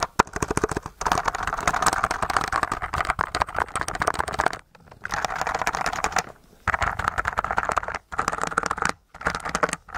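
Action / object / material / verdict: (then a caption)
tap / mechanical keyboard with plastic keycaps under slime / plastic / none. Fingertips tap and press the plastic keycaps of a white mechanical keyboard through a layer of translucent blue slime, with one hand holding the keyboard tilted. Rapid, dense clicking comes in bursts of a second or two, separated by short silent pauses, each tap dry and quickly damped. The sound centers in the mid range around 1 kHz.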